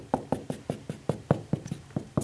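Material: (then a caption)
Drywall. A drywall wall is knocked on repeatedly over a wooden stud, producing a quick series of short, dull, low knocks with almost no ring. The spot sounds solid compared with a hollow area, marking the location of the stud.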